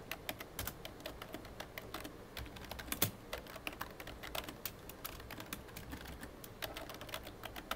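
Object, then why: Plastic computer keyboard. Fingertips tap the keys of a full-size, hollow black plastic computer keyboard in dense, continuous typing. Each keystroke is a short, bright click with a faint low thud underneath. The clicks die away almost at once.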